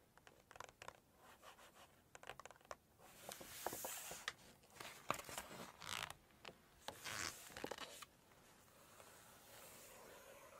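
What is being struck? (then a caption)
Glossy paper book pages. Long red acrylic nails tap and scratch across the glossy printed pages of a large hardcover Chinese cookbook lying open. Crisp, bright clicks and taps come first, then swelling scraping rasps across the paper, before the sound settles into a faint, steady hiss.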